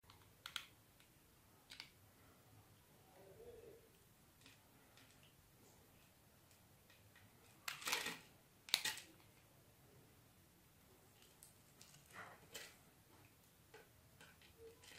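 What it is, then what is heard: Bar soap being cut. A palm-sized solid pink bar soap held in the hand has its pre-scored grid surface scraped and cut with a metal blade, so small soap cubes crumble off. Quiet, bright, crisp scratches and crunchy clicks arrive at irregular intervals, with two louder crumbling bursts near the middle. Each bit stops dead with no ring.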